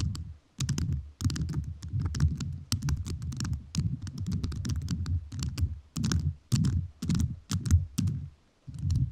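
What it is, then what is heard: Rhinestone-covered microphone tapped with jewelled nails. A microphone fully covered in rhinestones is tapped with fingertips whose rhinestone-covered nails give crisp, clicky taps. Rapid bursts of tapping run in clusters with brief pauses, each tap a short, dry click with a deep low thump under bright, sparkly edges.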